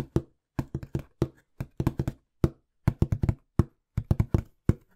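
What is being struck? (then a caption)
Corrugated cardboard box. Fingertips tap and knock quickly on the surface of a small, hollow, empty-looking brown corrugated cardboard box. About twenty short, dull, low thuds land in uneven bursts, each dying away almost instantly with no ring.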